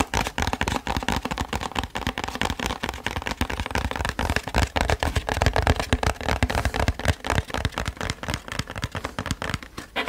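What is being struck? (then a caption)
Cardboard box. A flat, hollow printed cardboard box is held in the hands and moved around the microphone while fingertips and nails tap and scratch it. Rapid, irregular hollow taps with a low, thuddy body mix with dry crackling scratches in a dense, continuous stream for about ten seconds.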